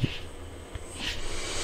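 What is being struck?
Nothing is struck.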